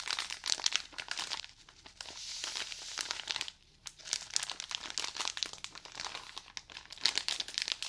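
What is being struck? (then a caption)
Cotton pad pack in crinkly plastic wrap. A package of cotton pads in crinkly plastic wrap is squeezed and scratched with fingernails. Dense, bright crinkling and scratchy ticks fill the clip, with a softer, smoother rustle in the middle and a brief pause before the crackling resumes.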